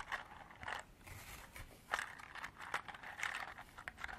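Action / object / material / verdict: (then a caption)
tap / hard plastic container with small beads / plastic / none. Long black artificial nails tap and scratch a small, hollow clear hard-plastic clamshell container partly filled with small cream-colored beads, and also handle the beads inside. Quiet, irregular, bright clicks and scratchy crinkles sit mostly in the upper-mid range, with a light rattle as the beads shift.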